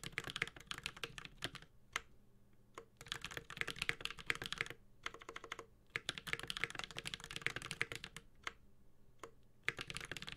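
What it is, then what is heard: Mechanical keyboard being typed on. A Space65 Cybervoyager 65% mechanical keyboard with Holy Panda switches, an aluminum case and plastic keycaps is typed on with the fingertips of both hands. Quick bursts of bright, sharp key taps with very short decay come in flurries, broken by brief pauses with a few isolated clacks. The sound is crisp and clicky, with a light thud under each keystroke.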